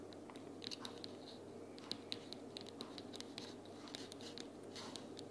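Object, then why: Cardboard sticky-notes box. Long purple nails tap the side edges of a closed, pink printed cardboard sticky-notes box lying flat on a table. Quick, dry, bright clicks patter irregularly over a faint steady low hum, each one dying away almost instantly.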